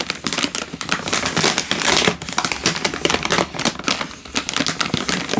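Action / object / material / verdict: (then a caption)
scrape / plastic-film instant noodle packet / plastic film / none. A sealed, hand-sized plastic-film instant noodle packet, full with a dry noodle brick inside, is held in one hand and crinkled and squeezed with the fingertips. It makes dense, bright crinkling and crackling in rapid overlapping bursts, with little low-end weight and no long ring. The rustle continues steadily throughout the clip.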